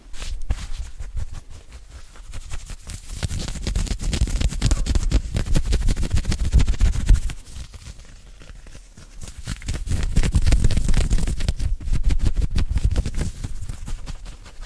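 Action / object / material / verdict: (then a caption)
scrape / knit cotton polo shirt sleeves / cotton knit / none. Fingertips and nails scratch fast and hard over the short sleeves and shoulders of an open-weave knit cotton polo shirt, arms crossed. The result is a dense, rough stream of quick scratches with a heavy low rumble, swelling louder around four to seven seconds and ten to thirteen seconds.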